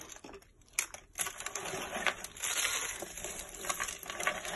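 Bare fingertips squeeze and crush a pile of hollow, curled dry soap shavings in white, purple and yellow on a flat surface, breaking the curls into flakes. A continuous run of dry, crisp crunching and crackling is heard, bright and high-heavy with almost no low end, with louder snaps standing out from the steady crumbling.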